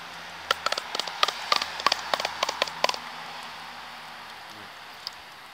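A deformed flat roof terrace covering is sounded during a water leak search, giving 12 quick, sharp taps in about two and a half seconds, each with a hollow, mid-pitched knock and a bright edge that dies almost at once. The covering sounds hollow, suggesting it has lifted or debonded where water has got in.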